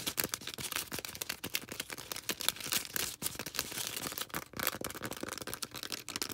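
Long red nails scratch and rub a small star-shaped green foam sponge held close to the microphone. The result is a dense run of fast, dry, bright scratching and squeaky rubbing bursts with almost no low end and no lingering ring.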